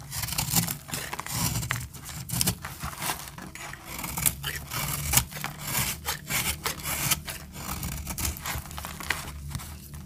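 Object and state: Dry soap bar being cut.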